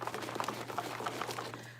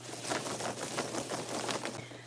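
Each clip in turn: First: rubber-coated foam dreads, softer rattle when shaken. Second: fabric-paint-coated foam dreads, loud rattle when shaken.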